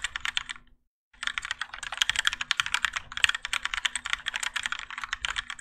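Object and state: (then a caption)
Mechanical keyboard with ABS plastic keycaps. Both hands type continuously with their fingertips on a Keychron K4 compact mechanical keyboard with grey and orange ABS plastic keycaps and Gateron Yellow switches, its plastic and metal case resting on a desk mat. A quick, steady run of short, bright clacks fills the clip, with a brief silent pause just before the one-second mark.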